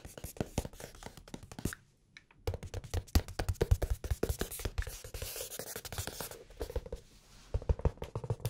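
A blue hardcover notebook with red page edges is held flat, then tilted up, while fingertips and nails tap and scratch its cover. Quick, dry taps with a low thump come in dense runs, mixed with soft scratching and a brief near-silent pause around two seconds and another near seven seconds.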